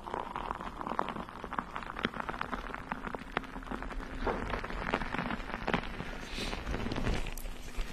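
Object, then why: Metal mesh microphone grille. A bare, hollow, round metal mesh microphone grille is scratched and tapped with the long nails of both hands. Dense, crackling scratches mix with quick, sharp taps over a low rumbling bed, with a faint steady hum underneath.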